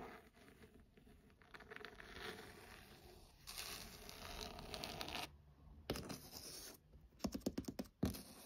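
Fingernails scratch the cover of a burgundy leather-bound hardcover book, then its page edges. Soft, dry scratching builds into a brighter, steadier rasp in the middle, followed by a run of quick, sharp scrapes and flicks near the end, all at a quiet, close level.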